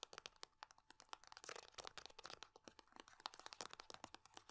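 Long nails tap, scratch and crinkle the body of a small foil-laminate hand cream tube held in both hands. The result is a quiet, rapid stream of bright, dry clicks and crinkly scratches with almost no low end and no ring after each tap.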